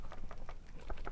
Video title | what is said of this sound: An introduction to new model : Ayuthaya style noble dha. | shake it like this and that's basically almost no sound